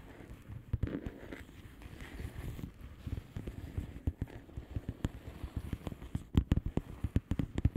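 Long fingernails on both hands tap across the bubbles of a flat blue plastic bubble wrap envelope. The taps are soft, dry and low-pitched with no ring, starting sparse and growing into a quicker, louder flurry toward the end.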